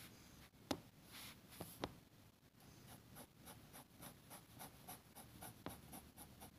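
A metal fountain pen nib scratches dense hatching strokes across a flat, thin sheet of grid paper on a table, while a red plastic contact lens case nearby stays untouched. The strokes make a soft, steady, bright rasp in a rough rhythm, broken by four sharp little ticks where the nib catches.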